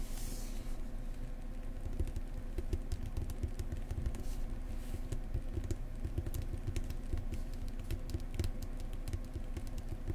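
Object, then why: Paperback book spine, printed card. Long fingernails of both hands tap and scratch the printed card spine of a thick Lonely Planet New Zealand paperback lying flat. The result is a steady ten-second patter of quick, soft, dull taps that die away almost at once, layered with light scratching and carried mostly by a low thud.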